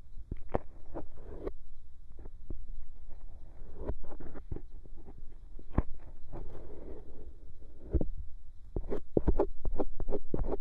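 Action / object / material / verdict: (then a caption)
scrape / silicone ear of a binaural microphone scraped with a bamboo ear pick / silicone / none. The tip of a bamboo ear pick scratches around the hollow canal and rim of a white silicone binaural microphone ear. Close, muffled scraping and rubbing rumbles mostly in the low range, broken by irregular sharp clicks and short bright ticks. The scratching grows busier and louder toward the end.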